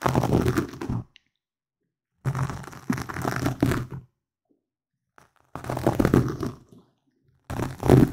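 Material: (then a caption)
Foam. A black foam windscreen on a microphone is rubbed and scratched with the fingertips and nails of both hands. Bursts of close, dense crackling and rustling scratches, heavy in the low end with a low rumbling tone, come in separate bursts broken by silent gaps.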